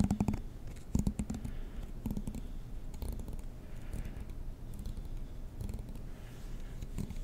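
A black plastic comb is held near the microphone while a fingernail strums across its teeth. This gives bursts of quick, dry ticking clicks with a low buzzy hum near 200 Hz, strongest at the start and around the one-, two- and three-second marks, then settling into a softer steady rasp.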